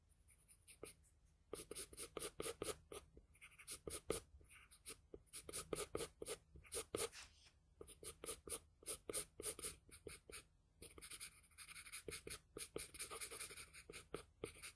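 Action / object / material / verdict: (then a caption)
scrape / graphite pencil on a paper drawing sheet / paper / none. A wooden graphite pencil held in the fingers draws short, quick strokes across a face sketch on a large flat sheet of white drawing paper resting on a desk. Each stroke is a dry, bright scratch with a papery rasp. The strokes come in rapid bursts with brief pauses between them and stop short with almost no ring.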